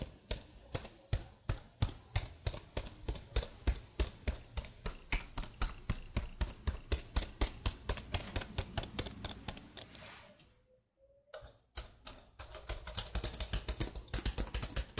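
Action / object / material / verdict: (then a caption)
tap / plastic laptop keyboard / plastic / none. Fingertips with long blue nails type on a black plastic laptop keyboard close to the mic, producing quick, uneven clicking taps with bright key clacks over a dull low thump. The typing runs steadily, breaks off for about a second near the end, then resumes at a slightly softer level.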